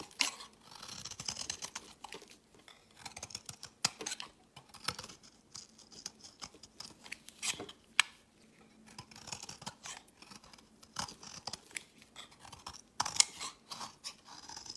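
A metal utility-knife blade shaves curls off the edge of a solid white, rounded, palm-sized bar of soap held in the hand. Quiet, bright, dry scraping and crisp carving strokes come in short bursts separated by brief pauses, with a faint low hum underneath.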